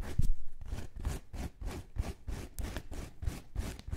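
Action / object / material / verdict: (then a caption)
scrape / porous bath sponge / sponge / none. Long nails scratch and squeeze a soft, round, palm-sized yellow porous bath sponge with a white cord loop, held close to the microphones. A steady run of rhythmic, scratchy rubbing strokes comes through, each a quick soft swish with a muffled, low-heavy body. The sound ends abruptly after each pass.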